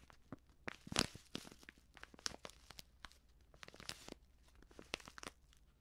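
Fingers crinkle and fold the top edge of a medium, filled, white Prix Garantie plastic seasoning bag. The result is a quiet series of short, bright crinkles and crackles, with the loudest burst near the one-second mark.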